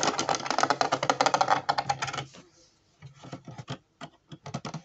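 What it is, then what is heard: Plastic puzzle shoe sole scratched. Fingertips and nails scratch across the ridges and edge of the white ridged sole of a hollow plastic jigsaw-puzzle Converse-style shoe, a Ravensburger 3D puzzle. A dense run of rapid, dry, clicky scratches with a bright rasp lasts a little over two seconds, then goes nearly quiet. Sparser, separate scratching strokes follow.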